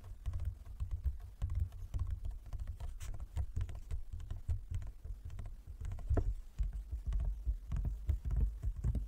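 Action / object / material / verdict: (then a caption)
tap / wooden folding chess board / wood / none. Fingertips and nails of both hands tap rapidly on a large, closed, hollow wooden folding chess board. The steady patter of short, dry taps is dominated by low, hollow knocks, with occasional brighter clicks from the nails. Each tap dies away almost at once.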